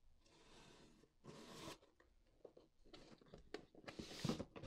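Fingertips and long black-painted nails scratch and tap along the top flap seam and edge of a closed, hollow white corrugated cardboard mailer box. Two long, bright scratching strokes come first, followed by a scatter of short dry taps and scrapes. The sequence ends in a louder rasping scratch.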